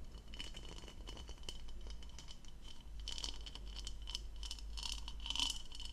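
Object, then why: Plastic goblet. Long nails tap and scratch the outer surface of a hollow, empty turquoise plastic goblet with a textured diamond-pattern bowl as it is held in one hand, tilted and turned. Quick, dry ticks and scrapes form a steady, close-up texture with a faint tone near 3 kHz and bright crinkly edges. A low, constant rumble sits underneath.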